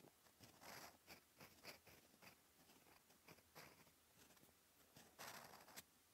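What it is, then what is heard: Paper notebook page written on with a fountain pen. A steel fountain pen nib scratches handwriting strokes across a flat, cream, lined paper notebook page. Quiet, dry scratching comes in short, bright bursts of varying length, with two longer, louder strokes around the first and fifth seconds.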